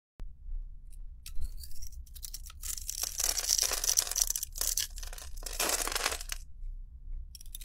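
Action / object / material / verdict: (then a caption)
scrape / soap bar scraped with a blade / soap / none. A palm-sized solid bar of soap with a pink outer layer and white core is held in one hand and scraped and shaved with a metal utility blade, then a knife, so flakes fall off. Bright, dry scraping and tearing strokes come in bursts over a steady low hum.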